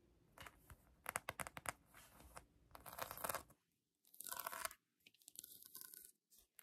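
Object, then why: Polyurethane foam squishy toy. Long acrylic nails scratch a held pink polyurethane foam donut squishy toy with a painted glaze, making quiet, dry, crunchy scratching and tearing textures. Bright bursts come in quick clusters separated by short silences.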